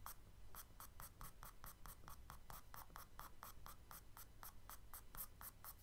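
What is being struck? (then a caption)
Kraft paper sketchbook page scratched with charcoal. A charcoal stick makes short scratching strokes near the lower right of a page in a spiral kraft paper sketchbook, while the other hand holds the pad still. A quiet, steady run of quick, dry scratches rises and falls in a regular rhythm, each stroke a bright papery rasp over a faint low rumble.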